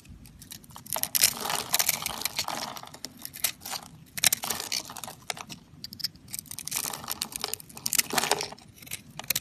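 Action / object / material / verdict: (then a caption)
scrape / bar of soap cut with a knife blade / soap / none. A utility knife blade carves small cubes off a solid white bar of dry soap, held in the hand and pre-scored into a grid. The result is a dense run of crisp, crunchy cutting and scraping bursts, dry and bright with almost no low end and no ring after each cut.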